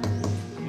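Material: Wood.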